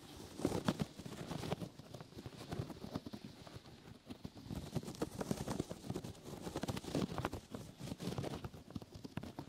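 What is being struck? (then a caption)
Open-weave foam rubber grip mat. A brown open-weave foam rubber grip mat, sticky foam grip matting, is draped over a microphone while fingers and nails scratch and rub it from the sides. The result is a dense, muffled, low-heavy stream of crackly rustling and soft thumpy scrapes that continues unevenly for the whole clip with very little brightness.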